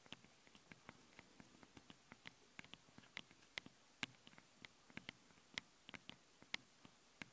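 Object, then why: Metal mesh microphone grille. Long blue-painted nails scratch and tap the two small, hollow metal mesh capsule grilles on both sides of a handheld stereo recorder. About two dozen quiet, sharp, bright ticks and scrapes sound, each with a brief metallic ring around 2 kHz, against a low hiss.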